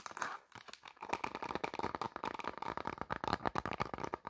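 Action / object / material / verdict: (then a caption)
scrape / faux leather clutch bag / faux leather / none. Long black nails rapidly tap and scratch the surface of a hollow, medium black faux leather clutch bag with a gold metal bow and ring hardware. The result is a quick, uneven run of dry, crinkly taps and scratches with a papery, mid-range tone and almost no ring.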